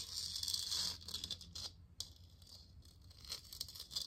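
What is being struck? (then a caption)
Hollow plastic lamp sphere. A hollow plastic moon lamp sphere, glowing blue and held in one hand, is tapped and scratched with long nails. Dry, crinkly scratching rustles across the surface, broken by light, quick taps. The sound is bright and hissy with little low end.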